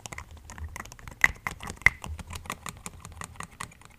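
A medium-sized clear orange plastic body mist spray bottle with a pink-striped label and a silver-white pump cap, hollow and partly filled with liquid, is held in one hand and tapped with the fingertips and nails of the other. Quick, irregular, dry clicking taps with a bright edge and a tone around 2 kHz patter on steadily, with two sharper, louder taps standing out near the middle.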